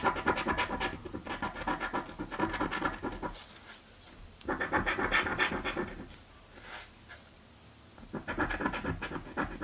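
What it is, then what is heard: Scratch-off lottery ticket being scratched. A coin scratches a thin, flat purple cardboard scratch-off lottery ticket in three bursts of rapid back-and-forth rasping, separated by short quiet pauses. The scraping is dry and gritty, with its energy spread across the mids and into the brighter range.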